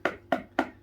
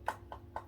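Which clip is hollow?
The first.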